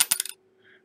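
An aluminum disc, a knockout plug from an electrical box, is dropped again and gives a quick run of bright, thin clinks as it bounces, with almost no low end and very little ring. It is identified as an aluminum electrical knockout plug, not a steel penny planchet.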